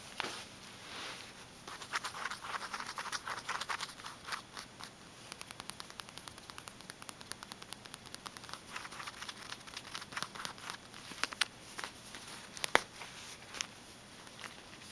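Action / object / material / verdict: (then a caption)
tap / small faux-leather vinyl wallet / vinyl / none. Fingertips tap and scratch the flat surface of a small pink faux-leather (vinyl) wallet with a mushroom patch, a snap button, and a flat, hollow body with a fold-over flap. Quiet, dry, bright patter of rapid short taps and scratchy rubbing runs throughout, with a few sharper clicks near the end as the flap is lifted.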